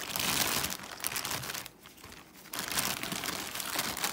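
Fingers crinkle and rub the thin plastic of a large white plastic Amazon poly mailer bag. Dense, bright crinkling fills the clip, briefly dropping to a softer rustle near the middle before picking back up.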